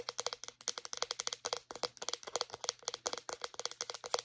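Long nails tap and scratch the casing and base of a small white plastic deodorant stick. A quick, steady run of light, dry clicks follows, each with a faint hollow tone near 490 Hz and a bright top. Every click dies away almost instantly.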